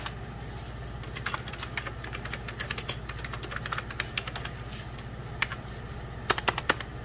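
Fingertips and short nails rapidly press the beige plastic keys of a full-size 90s Packard Bell keyboard over a hollow plastic case. The result is a fast stream of short, bright clacks that die away almost instantly, with a few louder taps near the end over a steady low hum.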